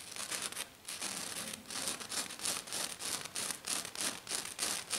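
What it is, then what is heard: Glitter-covered sheet being scratched. One hand with black-painted nails scratches fast and hard across a flat silver glitter-covered sheet with its fingertips. The result is a quick, uneven run of bright, gritty rasping strokes, about three per second, with almost no low end and no ring after each stroke.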